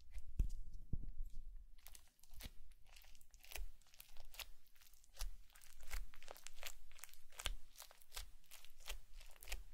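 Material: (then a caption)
Slime. A green plastic comb is dragged and pressed through a flat blue slime mound with small foam beads, sitting on a white plate, scratching grooves into it. The foam beads give off a dense run of short, bright crunching and crackling pops that come in bursts over a low rumble.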